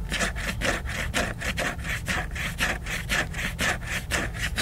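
Fingernails scratch and rub the glossy cover of a large, solid, flat laminated cardboard hardcover book. The scratching comes in steady back-and-forth strokes at about two per second, each a dry, bright rasp with a low rumble underneath.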